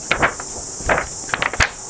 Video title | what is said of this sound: 5 Stunning Picture Books to Inspire You | nice crisp sound to it